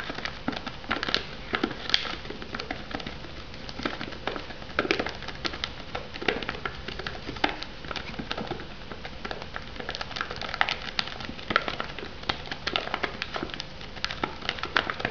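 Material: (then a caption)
Foam, plastic film. Long nails tap the lid and rim of a shrink-wrapped, plastic-wrapped foam noodle cup in a steady, rapid stream of light clicks. Each tap is quiet, crisp and bright with a faint crinkle of the wrap and almost no ring.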